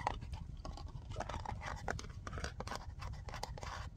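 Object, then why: Plastic liquid bottle. Fingernails rapidly tap and scratch a large white plastic Soak Off nail polish remover bottle that is full of liquid and has a black cap. The result is a dense run of quick, dull clicks and scrapes over a constant low rumble.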